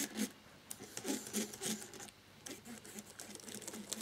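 A cotton swab rubs along the key edges in different rows of a black plastic laptop keyboard, causing light key clicks. Quiet, dry, scratchy rubbing with bright hiss and soft, irregular clicks is heard in bursts, with a brief lull near the middle before the rubbing resumes.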